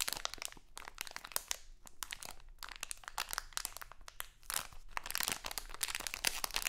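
A small printed crinkly plastic Halloween candy bag is held in both hands, crinkled and scratched with long acrylic nails. Dense, bright crackling and crunching snaps come in rapid, overlapping bursts with short quieter pauses. The crinkling swells louder toward the end.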